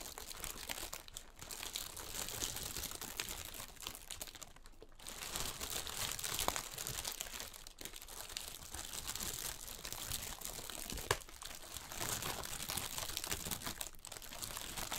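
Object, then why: Inflated plastic air-column packaging. Fingertips and nails scratch and squeeze large, clear, inflated plastic air-column packaging, hollow and air-filled. The film gives off continuous bright crinkling and crackling with short sharp snaps scattered throughout. There is no talking.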